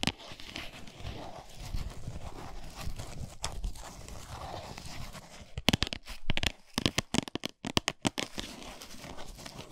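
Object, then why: Flat cardboard chocolate bar box. A full, flat Lindt cardboard chocolate box, briefly tilted on its edge, is scratched and tapped with long nails and fingertips. Steady, crackly scratching fills the first half. It gives way to a burst of sharp, dry taps with bright clicks, then returns to softer scratching.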